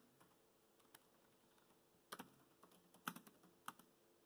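Bare fingertips of both hands type on the black plastic chiclet keys of a dark grey laptop set in a grey plastic deck. Eight quiet, short, dry clicks come at an uneven pace over a faint hiss, with a cluster of sharper taps near the end.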